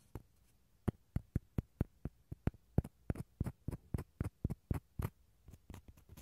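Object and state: Dried gourd shell half, scratched.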